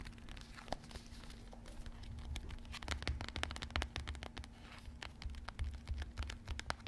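A small, full rectangular Maizena cornflour cardboard box is held close and tapped and scratched on its faces with long red-painted fingernails. Many quick, dry, bright clicks and scratchy crinkles are heard over a low hum. The box gives a soft papery rattle.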